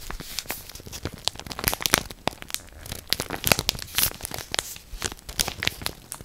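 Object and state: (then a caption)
Plastic bread bag crinkled. A full orange Morato plastic bread bag, held up by the ear, is scratched and crinkled with long black nails. The result is a dense run of sharp, bright crinkles and crackles with quick, uneven bursts and very little low end or ring.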